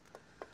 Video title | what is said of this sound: Ezért nem adom el a Yamaha XVS 650 Classicot – 18 éves technika, mégis hibátlan | az első sárvédő fém,